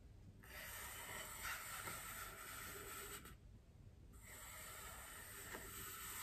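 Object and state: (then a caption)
Styrofoam wreath ring being scratched. Long painted nails scratch across a large, white, solid styrofoam wreath ring resting on a table. The result is a soft, continuous, hissing scrape with a bright, airy top. The scraping pauses briefly near the middle, then resumes.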